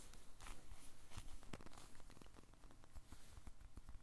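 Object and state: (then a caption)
Soft polyurethane foam squishy toy. A small blue squishy toy made of solid soft polyurethane foam is held close and squeezed and tapped with short-nailed fingertips. Quiet, irregular soft squishing and faint crackling mix with dull, muffled taps and brief bright scratchy touches.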